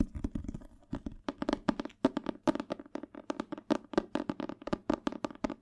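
Fingertips tap the glossy cardboard cover of a thick paperback Spanish dictionary held upright, making a fast, uneven run of short, dry taps. Each tap has a low-mid body around 270 Hz and dies away almost at once with little ring.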